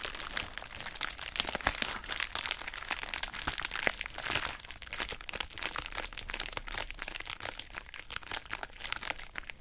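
A pink heart-shaped plastic bubble wrap pouch is squeezed and folded open by hand with long nails. It gives dense, bright crinkling with sharp crackling snaps throughout, and very little low end.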